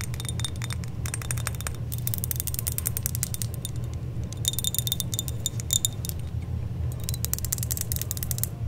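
A hand with long dark nails holds up a small silver-colored metal chain necklace with pendants and shakes it, so the links and charms jingle together. The result is bursts of bright, rapid, tinkly clinks that ring very briefly, pausing just before the middle of the clip, over a steady low rumble.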